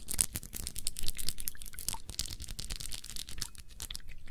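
Long nails tap rapidly on a round glass perfume bottle with a blue cap, filled with blue liquid. The result is a dense stream of quick, bright clicks and ticks with almost no ring.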